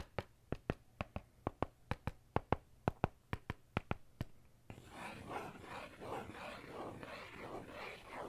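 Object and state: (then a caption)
Pen scratching a faux-leather notebook cover. A metal ballpoint pen tip works on a dark faux-leather notebook cover. First comes a quick series of sharp, dry taps for about four seconds. Then it shifts into a continuous scratching and scraping across the surface that swells and fades in short strokes.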